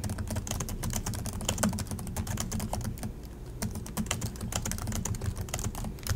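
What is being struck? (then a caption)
Plastic laptop keyboard keys. Both hands type continuously with the fingertips on the plastic chiclet keys of an Acer laptop, producing rapid, crisp tapping clicks with bright, short attacks over a steady low hum. The clatter eases briefly around the middle before the quick typing resumes.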